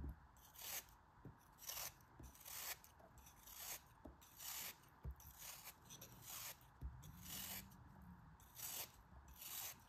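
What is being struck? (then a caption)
Kinetic sand block cut with a metal blade. A metal utility knife blade repeatedly scrapes and slices a small solid pink kinetic sand block held in the fingers. The result is a steady series of bright, gritty scraping strokes, each a short hiss of crumbling sand, with faint soft thumps underneath.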